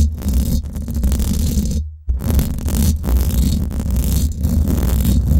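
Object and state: Metal mesh microphone grille being scratched.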